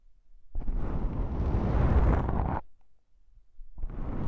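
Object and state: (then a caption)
Foam microphone windscreen. A fingertip with a long pink nail taps on a pair of small black, soft, porous foam windscreens on a stereo microphone, lifting between taps. The result is a dense, deep, muffled rumbling thump that swells for about two seconds and cuts off abruptly. After a short near-silent gap it starts again.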